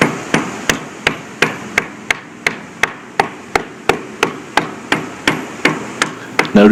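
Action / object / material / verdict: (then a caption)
strike / concrete bridge deck struck with a hammer / concrete / delaminated. A hammer strikes a concrete bridge deck at the edge of a pothole over a delaminated area, making a small rock jump around. Twenty sharp, evenly spaced taps land about three per second, each a short, hollow-sounding knock that dies away quickly, with a louder clatter at the very end. The taps mark the concrete there as delaminated.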